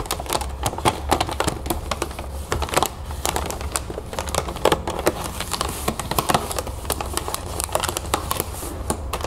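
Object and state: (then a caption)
Plastic bag of cereal puffs. Fingers with long nails scratch and tap a full, clear plastic bag of cereal puffs resting on a table. The result is a steady run of quick, dry crinkles and sharp clicks over a low background hum, with no ringing after each tap.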